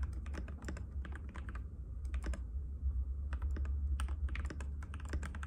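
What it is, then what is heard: Plastic mechanical keyboard. A compact cream-white mechanical keyboard with plastic keycaps and a hollow case rests on a glass table as both hands' fingertips type on it continuously. Rapid, irregular clacky taps come with bright, short clicks over a steady low hum. There is no clear pause in the stream of keystrokes.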